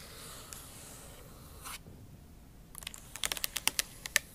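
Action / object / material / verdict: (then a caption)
tap / plastic laptop keys tapped with fingernail tips / plastic / none. Tips of long acrylic nails tap on the bare plastic keys of a MacBook Pro backlit keyboard set in an aluminum body. After a soft, hissy scratch and a brief rustle, a run of about eleven sharp, bright, clicky typing taps arrives in an uneven rhythm toward the end.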